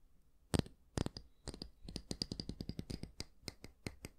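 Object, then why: Wooden hair brush with natural bristles. Fingertips and nails scratch the dense natural bristles of a small oval wooden hair brush, making a quick, irregular series of short, crisp, bright rasps. Each stroke stops dead with almost no ring over a soft low rumble.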